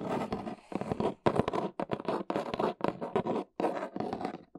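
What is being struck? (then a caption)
Corrugated cardboard box. Long nails scratch and tap the side and end of a large, hollow, brown corrugated cardboard box. The result is a run of dry, papery scratching bursts with a hollow midrange body, broken by brief pauses. Each stroke stops short with almost no ring.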